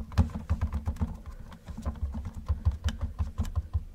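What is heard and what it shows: Gloved fingertips tap rapidly on the roof of a hollow yellow plastic Camaro model car. The result is a quick, uneven run of short, dull, low thuds with a hollow knock and almost no high end, each dying away almost at once.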